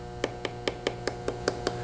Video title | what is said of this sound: Trimming Small Bowl with Tim See | you can tap on it you can hear how thin it is